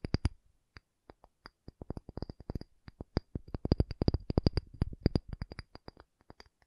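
A pumice stone is tapped in a long, uneven run of short, dry knocks that sometimes bunch into quick clusters. Each tap is low and dull with almost no ring, stopping at once.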